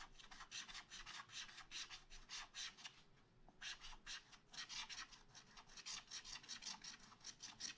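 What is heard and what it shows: A wooden stylus makes fast hatching scratches on a black wax-coated scratch art paper page in a spiral pad. The result is rapid, bright, raspy strokes with a brief pause just after three seconds before the scratching resumes.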